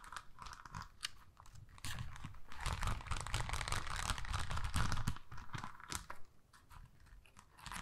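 Long acrylic nails scratch and tap across a thin, flexible adhesive sticker sheet covered in rows of small pink plastic rhinestones on a clear plastic backing. The result is a dense, crunchy stream of quick, irregular clicks and scrapes. The texture swells louder and busier in the middle before thinning out toward the end.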